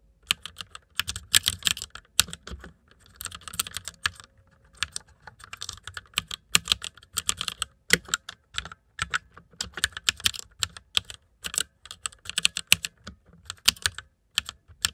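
Fingertips of both hands type on the keycaps of a white plastic mechanical computer keyboard, producing a rapid, uneven stream of bright, sharp clicks and clacks. The clicks have almost no ring and little low end, with brief pauses between bursts of keystrokes.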